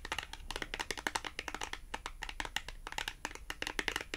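Long acrylic nails tap on the face of a small, thin, flat red printed cardboard price tag with a Tom and Jerry design, held up in the air. A rapid, uneven run of quick, dry, bright clicks follows, each dying away almost at once with little low end.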